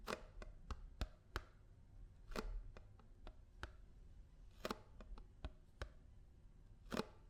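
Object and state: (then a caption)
Paperboard milk carton, tapped. Fingers and nails tap on a paper almond milk carton, giving about fifteen short, dry taps that mix soft low thuds with crisp clicks. Each tap dies away almost instantly, with quiet pauses between them.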